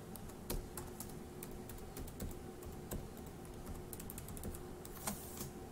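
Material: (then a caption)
Plastic. An index fingertip taps individual plastic keys on a dark grey laptop keyboard, making a quiet, irregular stream of short, bright clicks. A steady low hum runs underneath.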